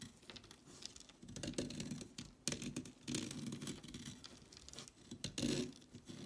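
A blade carves and scrapes a solid orange chalk stick, sending chalk flakes piling up. Dry, gritty scraping comes in uneven bursts with a papery crackle and bright, hissy edges over a soft, low body.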